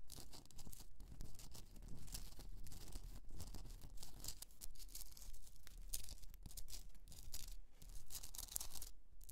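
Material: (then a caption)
Rock salt. Long nails scratch across the top of a rough, pink Himalayan rock salt candle holder, a solid piece with a hollow. The result is a steady, quiet stream of dry, gritty scratching with a bright, hissy texture and soft low rumble beneath, each stroke blending into the next without any ring.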